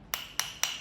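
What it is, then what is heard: Solid original charger adapter. Three sharp, high-pitched knocks on the plastic casing of an original phone charger adapter, each a bright, dry click that dies away almost at once. The adapter sounds solid rather than hollow.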